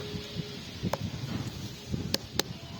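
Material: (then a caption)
Watermelon rind. A watermelon is knocked to test it, and the knocks sound hard and solid, with three sharp raps that stop almost at once against low background rumble. The hard, solid sound marks this melon as not ripe, so it will turn out somewhat unripe.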